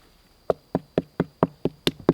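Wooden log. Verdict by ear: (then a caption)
Hollow. Eight quick knocks on a wooden log lying in the woods, one that already looks hollow and has hornets living near it, give short, dull thuds with a hollow, mid-low body that dies away almost at once. A faint, steady high whine runs underneath throughout. The knocks sound hollow, confirming the log is hollow.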